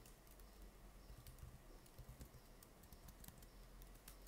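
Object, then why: Plastic laptop keyboard. Fingertips type rapidly on the plastic keys of an open laptop keyboard, the hands staying on the keys throughout. Dense, quiet key taps come as short, bright clicks over a steady low rumble.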